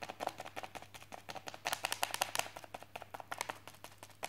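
The tip of a wooden chopstick taps and traces across a filled white polythene mailing bag lying on a desk, while the other hand rests on the bag. It produces a quick, uneven run of short, dry taps with a bright, crinkly plastic edge, each dying away almost instantly over a faint steady low hum.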